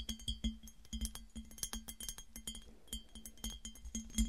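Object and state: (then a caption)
Empty glass piggy bank. A hollow, empty clear glass piggy bank, held on a table, is tapped and clinked with long nails and fingertips. Rapid, irregular clicks and bright glassy clinks ring briefly over a soft low thud.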